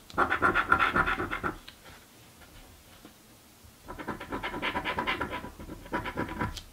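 A small coin held in the fingertips scratches the latex coating off a flat, thin "Mystic Riches" scratch lottery card lying on a dark table, held down by one hand. Rapid, rasping back-and-forth scrapes come in bursts: one for about a second and a half, then a quiet pause of roughly two seconds, then two more bursts. The scrapes sound papery and mid-toned, centred around 1.4 kHz.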